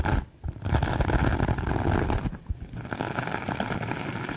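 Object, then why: Glitter fabric pouch. Long acrylic nails scratch the surface of a soft, sparkly glitter fabric pouch. The result is a dense, continuous scratchy rustle with a low, muffled body. It pauses briefly near the start and grows a little quieter in the second half.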